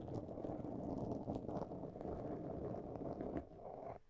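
Long nails scratch a black foam windscreen on a microphone, giving a dense, steady, muffled rasping concentrated in the low and middle range. The scratching continues evenly with small swells, then drops quieter around 3.4 seconds and fades out just before the end.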